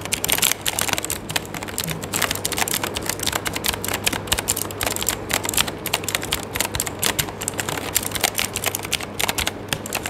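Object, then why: Mechanical keyboard with plastic keycaps. Fingertips of one hand type continuously on an RGB-backlit mechanical keyboard with plastic keycaps, producing a rapid, steady stream of bright key-press clicks and taps. Each click is short and sharp with almost no ring, over a faint steady low hum.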